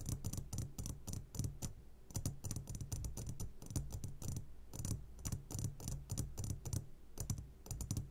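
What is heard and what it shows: Short fingertips of both hands tap quickly on the sides of a medium glass jar turned upside down and full of sugared gummy candies. The result is dense, crisp clicking with a bright top edge over a steady low hum. The taps come in rapid bursts with brief pauses between them.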